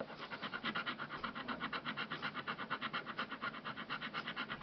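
A fingernail scratches the scratch-off coating on the back of a thin, flat, solid printed cardboard Xbox Live game code card lying on a dark glossy surface. About 28 quick, evenly paced strokes make a dry, raspy scraping centered around 1 kHz with bright hiss and almost no low end.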